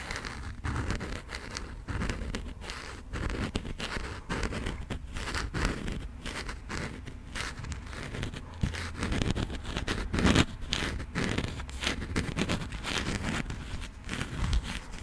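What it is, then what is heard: Passport with coated cover. Long nails and fingertips slowly scratch and tap on the embossed, coated cover of a burgundy passport booklet. The result is a steady, dense crackle of scraping with soft taps mixed in, sitting over a low, heavy undertone with only a little high, bright grit.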